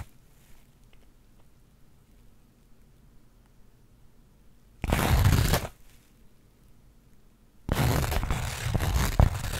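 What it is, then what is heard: Burlap fabric pouch. After several seconds of near silence with a faint low hum, long acrylic nails scratch and rub the coarse weave of a flat linen/burlap pouch held in both hands. This produces two bursts of broadband, bright, crackly scratching: a short one just before the midpoint and a longer, rougher one at the end.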